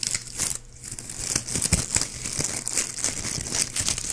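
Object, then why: Plastic ribbon gift bow. A small white shiny plastic ribbon gift bow with hollow looped petals is held in one hand beside the mic while fingertips squeeze and scratch its loops. The result is a dense run of bright, crisp crinkling and crackling with a soft low rumble beneath. The sound stays fairly steady throughout, with a brief quieter dip early on.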